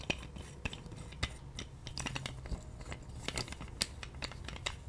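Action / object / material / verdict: tap / plastic roller massager / plastic / none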